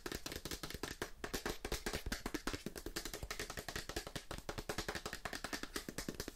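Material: Cardboard.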